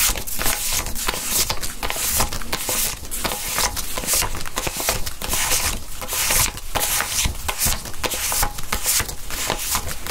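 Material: Polymer.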